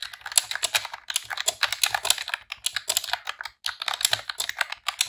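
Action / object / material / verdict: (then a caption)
tap / plastic computer keyboard / plastic / none. Long press-on nails and fingertips type in rapid key presses on a pink retro-style plastic computer keyboard with round keycaps. It makes a fast, bright, clicky clatter of short taps with almost no low end, broken by brief pauses between bursts.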